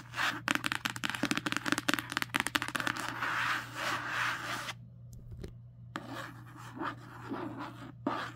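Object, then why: Paperback book with matte card cover. Long nails and fingertips scratch and rub across the matte card cover of a paperback book lying flat. Quick, crisp scratching strokes come first, then give way to smoother, broader rubbing, a brief near-silent pause, and softer strokes that return toward the end. A faint steady low hum runs underneath throughout.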